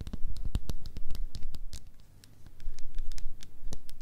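Long nails tap and scratch quickly across the ridged plastic lid of a small plastic slime cup with a blue swirl lid. The result is a busy patter of crisp, bright clicks over soft scratching. It dips quieter briefly in the middle before picking back up.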